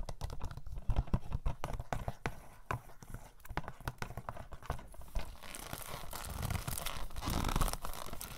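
A hand-sized hollow plastic DVD case of *Blood In Blood Out*, with a price sticker and likely shrink-wrapped, is held in both hands and tapped and scratched with short painted fingernails and fingertips. Quick, dry, low clicking taps come first, then a steadier, brighter scratching and crinkling rasp builds over the final few seconds.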